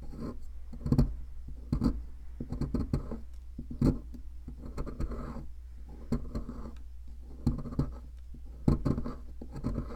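A metal pick scratches and scrapes inside the crumbly center cavity of a solid white plaster fossil excavation block. Low, gritty scraping comes in short bursts of varied strength, with a steady low hum underneath.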